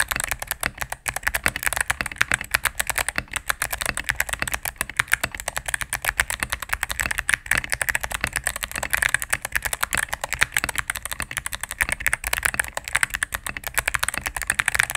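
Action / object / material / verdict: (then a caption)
tap / mechanical keyboard, plastic keycaps and case / plastic / none. A cream full-size mechanical keyboard with plastic keycaps on a solid plastic case is typed on rapidly with fingertips and medium nails. A dense, steady stream of bright, clacky key presses with very short decay and a focus around 1.8 kHz continues throughout, with little low end.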